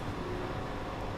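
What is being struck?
Nothing is struck.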